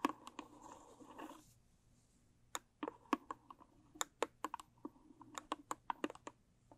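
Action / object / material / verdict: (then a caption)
tap / small rigid cardboard gift box / cardboard / none. Long stiletto nails scratch and tap the sides of a small, square, closed rigid cardboard gift box with a blue textured covering, held in both hands. A scratchy rustle opens the clip, followed after a short pause by a string of crisp, separate taps with a dry, hollow knock and almost no ring.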